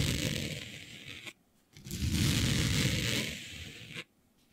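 Long nails scratch across smooth synthetic fabric with a planet print, laid flat. Two sustained, rough, rasping strokes are heard, separated by a brief silence, with a low rumbling body and a bright, hissy texture on top.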